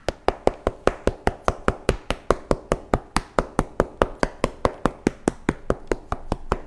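A ripe, ready-to-eat Pa La-U Monthong durian is knocked with a stick to check ripeness, giving a rapid run of 32 short, dry, hollow taps at a steady pace. The taps have a mid-pitched knock around 390 Hz that dies away almost instantly, the hollow sound that marks the fruit as ripe.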